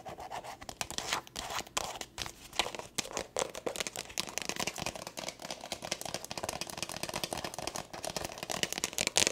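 A small, hollow black leather glasses case with a snap flap is tapped and scratched with long acrylic nails. The result is a fast, dense run of crisp clicks and bright scratching with very little low end.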